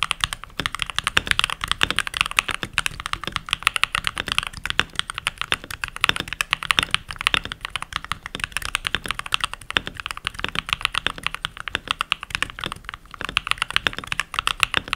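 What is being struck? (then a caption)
Mechanical keyboard with plastic keycaps. Fingertips with short nails and rings on the fingers type continuously on a full-size backlit mechanical keyboard with pink plastic keycaps. The rapid, dense key presses make bright, crisp clacks with very little low end, and each one dies away almost instantly.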